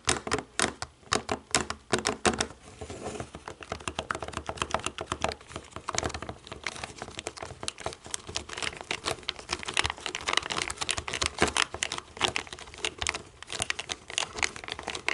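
Long nails tap the rubber buttons of a small, hollow black plastic DVD remote control, making rapid, bright clicking taps with short decay. Quick bursts at the start give way to a steady run of dense, uneven taps.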